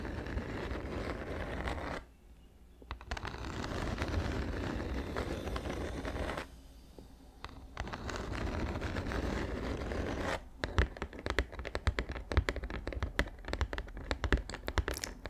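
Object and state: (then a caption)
Cardboard gift box. A medium-sized, hollow, dark grey rigid cardboard gift box with a tan band is held flat against the mic and scratched and tapped with long acrylic nails and fingertips. Dense, low, rumbling scrapes and scratches are broken by two brief near-silent pauses. The last few seconds turn into a rapid run of sharp, clicky taps.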